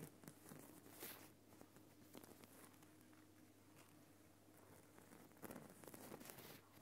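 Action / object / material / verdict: tap / rock salt lamp / rock salt / none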